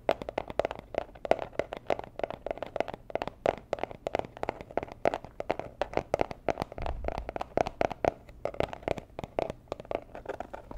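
A small, hollow, rigid teal cardboard jewelry gift box in Tiffany style is held in the hands and tapped and scratched with long nails. Quick, dry, hollow taps with a papery tone around 645 Hz come in a dense, uneven stream across the clip, mixed with soft scratching and almost no ring after each hit.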